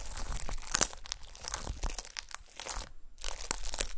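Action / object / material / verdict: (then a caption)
tap / glitter slime with confetti / slime / none. Long nails repeatedly poke and press the surface of a flat, solid disc of gold glitter slime with star confetti. The pressing makes dense, crunchy crackles and crinkling pops with sharp, bright clicks over a low background rumble. There is a short quiet pause about three quarters of the way through before the crackling resumes.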